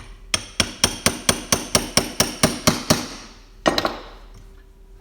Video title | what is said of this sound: RB25 otaku garage oil pump gears and rods | you hear that solid sound, and she's no longer sliding through